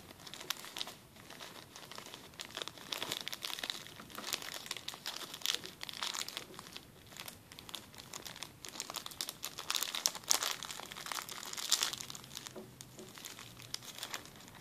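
A small, clear, empty plastic zip-lock bag is pressed flat, then crumpled in the hand with the fingertips. Dense, bright crinkling and crackling rises and falls in quick bursts for the whole clip, with almost no low end. Each crackle stops sharply.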